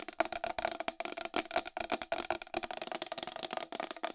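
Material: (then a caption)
Plastic. Long acrylic nails tap fast on the rim and face of a round white plastic wall clock with a hollow case. About eighteen sharp, dry clicks come in quick, uneven bursts, each with a hollow plastic tone near 670 Hz and a bright edge that dies away almost at once.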